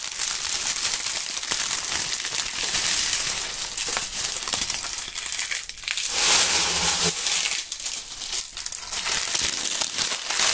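Handfuls of thin, brittle, dry brown autumn leaves, held in both hands wearing fingerless gloves in front of binaural mics, are crushed and crumpled by fingertips. The result is a steady, dense, bright crackling and crunching concentrated in the high range with almost no low end, with a brief louder swell of crinkling about six seconds in.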